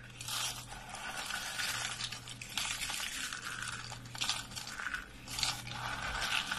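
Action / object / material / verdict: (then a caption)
scrape / soap curls and flakes / soap / none. A hand scoops up a pile of brittle, dry lavender soap curls and flakes and crushes them in a fist. It makes a bright, crackly crunching and scraping that comes in several swells over the clip, with a faint steady low hum underneath.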